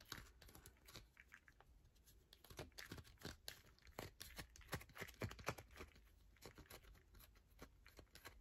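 A solid yellow bar of soap held in the hand is scratched with long nails that leave grooves and flakes. A quiet, fast, irregular stream of short, dry scratches and taps with bright crackly edges is heard, with a few louder strokes in the middle.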